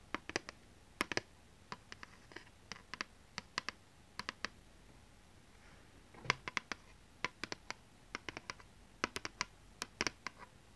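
Long nails tap and scratch the surface of a thin, solid, rigid plastic PlayStation 2 game disc held in the hands. The result is a quiet, irregular run of dozens of sharp, dry, bright clicks centered around 2 kHz, each dying away almost instantly. A faint scratchy rustle sits between them.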